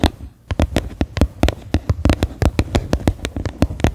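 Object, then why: Plastic bowl. Fingernails tap the flat bottom of a medium, faceted white plastic bowl that sits upside down, hollow and empty. About twenty quick, dry, hollow taps with a deep thump come in an uneven rhythm, each cut off almost at once with no ring.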